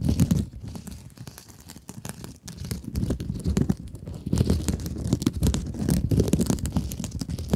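Long acrylic nails scratch across the woven mesh scrub surface of a rectangular blue sponge held in both hands. The result is a dense, continuous rasping and crinkling with rapid gritty bursts and bright, thin edges over a heavy, muffled low end. The scratching is quieter in the middle and grows louder and busier toward the end.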